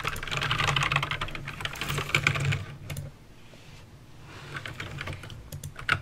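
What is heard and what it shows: Fingertips type on a backlit mechanical keyboard with plastic keycaps and clicky green switches, making a fast, uneven stream of sharp bright clicks over a low plasticky thump. The typing is dense for about three seconds, pauses briefly, then resumes more lightly with a few louder, isolated clacks near the end.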